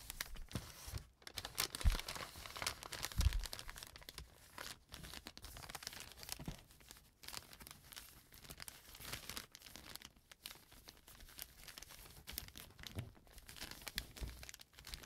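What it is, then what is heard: Brown paper bag crinkling. A small brown kraft paper bag lying on a table is folded and pressed with fingertips, giving a steady run of soft, close crinkling and crackling. Quiet rustles with brief sharper crunches continue without pause, spreading from a low rumble up to bright papery hiss.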